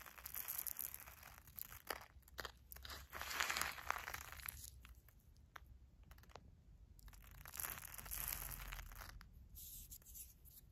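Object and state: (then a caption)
Uncooked rice grains rubbed on paper. A hand with long nails grabs, presses and rubs a pile of dry, uncooked long-grain rice resting on a paper filter. The result is irregular, gritty crunching and crinkly rustling, with bright, papery bursts between quieter stretches of grains shifting.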